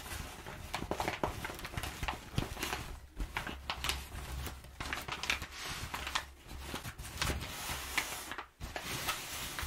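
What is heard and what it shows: Long nails scratch a crumpled, perforated brown kraft packing paper sheet lying on a table, and hands rub and pat it flat. The result is a continuous bright, crinkly rustle with dry scratchy strokes, soft low thumps from the pats, and a brief near-silent pause near the end.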